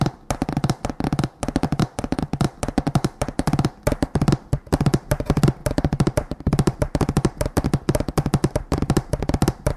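A row of painted wooden plank signs hanging on a string is tapped rapidly with the fingertips of both hands. The result is a dense, continuous patter of dull, low wooden knocks with very short decay and almost no high-frequency content.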